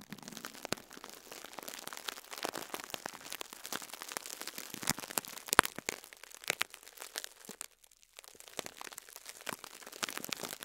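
A fingertip presses and squeezes a pink and yellow foam sponge wrapped in crinkled cling film, lying beside an untouched microphone. The result is dense, bright, crackling crinkles with almost no low end, and a brief quiet pause near the end.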